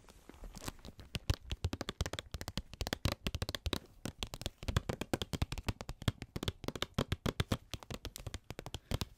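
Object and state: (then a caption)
Holographic plastic bag. An iridescent holographic plastic or foil bag, medium-sized, hollow and apparently empty, is held up and tapped and scratched with long acrylic nails. It gives a fast, irregular stream of dozens of short, dry crinkling clicks and taps with crisp bright edges over a fuller low body. Each sound stops almost instantly, with no ringing.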